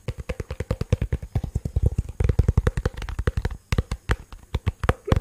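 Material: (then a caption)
Plastic. A black, cylindrical, hollow plastic portable Bluetooth speaker is held above the microphone and tapped and scratched with fingertips and nails. A quick, steady run of short, dull, low thumps with almost no ring follows, with brief pauses near the two- and three-and-a-half-second marks and occasional brighter nail clicks.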